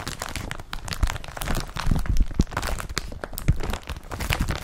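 Fingertips slide across the woven surface of an empty blue woven polypropylene IKEA BRATTBY carrier bag laid flat. The result is a continuous, dense crinkling and scratching rustle with a heavy low rumble and many short, dry crackles.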